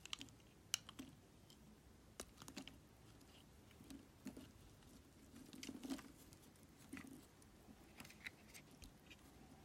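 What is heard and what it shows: A solid, translucent yellow glycerin soap block, held in the fingers, is shaved and scraped with a metal utility knife blade, peeling off curls beside a pile of soap shavings. Quiet, crisp scraping and short, bright crunchy clicks come in irregular bursts over a soft background, with no ringing after each cut.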